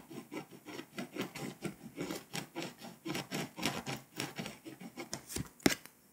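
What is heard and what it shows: A pink scraper is dragged in quick, repeated strokes across the foil layer of a flat, foil-coated paper scratch-off map, loosening foil dust and flakes. Each stroke is a dry, rasping scratch with a bright hiss, and the scratching ends with a sharper click before fading out.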